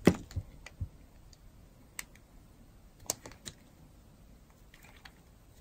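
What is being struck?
Bar of soap cut with a metal blade.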